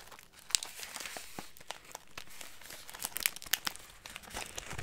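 Both hands hold a clear plastic bag of light crackers, squeezing and crinkling it with fingertips and nails so the contents shift inside. The result is a stream of bright, crisp crackles and sharp snaps over a soft rustle, with little low end.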